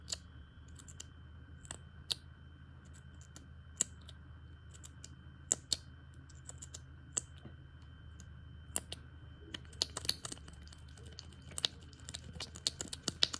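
A small clear plastic lip gloss tube filled with thick glittery gloss is held in both hands with the fingertips while the white wand on its silver cap is pumped quickly in and out of the tube's threaded neck. The result is a rapid run of wet, sticky friction sounds and sharp, bright clicks that die out almost instantly, heard over a faint steady low hum.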